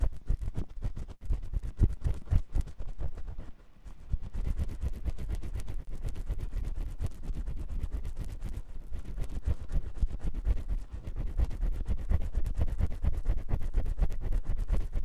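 A metal spiral ear pick scratches inside the ear canal of a white silicone ear on a 3Dio binaural microphone. The result is a dense, continuous run of rapid, irregular scraping and rubbing strokes, heavy and muffled in the low end. There is a brief quieter dip near the fourth second before the scratching resumes steadily.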